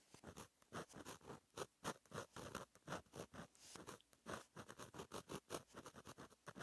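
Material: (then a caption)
Paper. A fine metal gel pen tip scratches across a flat black lined page of a paper notebook in cursive strokes. The result is a quiet, rapid series of short, dry scratching bursts with a bright edge, each stroke stopping abruptly.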